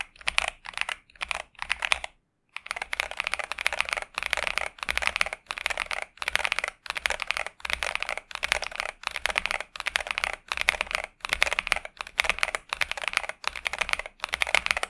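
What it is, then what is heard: Mechanical keyboard with plastic keycaps. A pink 65% Xinmeng M71 mechanical keyboard with TTC Superman switches and plastic keycaps is typed on continuously with the fingertips of both hands. Quick, bright, clacking keystrokes come in dense bursts separated by short pauses, with a brief silence just after the two-second mark. Each stroke is sharp and dies away almost instantly, with very little low end.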